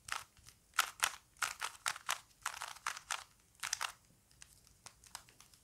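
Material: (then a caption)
Plastic. A small plastic Rubik's cube is held in both hands while fingertips turn its layers, producing about twenty quick, dry plastic clicks and crunchy rasps in irregular bursts. The sounds are bright and short, with almost no ring and nothing in the low end, and they thin out into softer, sparser clicks toward the end.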